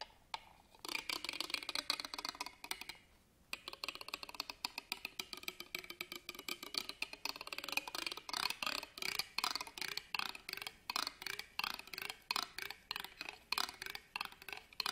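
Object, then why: Ribbed metal purse clasp frame. A black pen scratches along the ribbed metal clasp frame of an embroidered fabric purse held upright on a table. It makes quick, dry, bright scraping ticks with almost no ring, with a brief pause near the three-second mark before dozens of sharp strokes continue.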